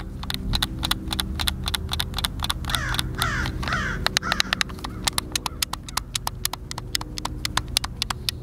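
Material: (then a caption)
Plastic. A white, hand-sized, hollow plastic Xbox controller is held in both hands while fingertips and thumbs press and click its buttons. A steady run of sharp, bright clicks is heard, with a brief stretch of sliding, squeaky sweeps in the middle over a low background hum.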